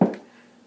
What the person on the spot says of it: I'm tapping on a relatively hard surface that's basically covered in pretty material